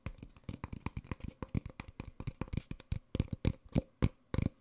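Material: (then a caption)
Paper. An empty, small, hollow white Nespresso paper coffee cup is tapped across its side with fingertips and nails, then turned over to show its open rim. Quick, irregular dull knocks with a low hollow body and brief bright nail clicks die away almost instantly, with no ring.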